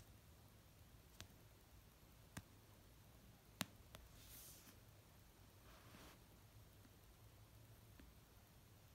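Fingernails slowly tap the cover and edge of an orange paperback novel resting on a blanket. A few sharp, dry clicks sound spaced seconds apart, with soft, breathy brushing sounds in between, all very quiet against a low background hiss.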